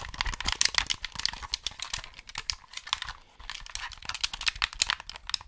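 Fingertips click the face buttons and d-pad of a hollow white plastic Xbox gamepad held beside the mic. The result is a rapid, irregular stream of short, dry, bright clicks with almost no low end, broken by a brief pause partway through.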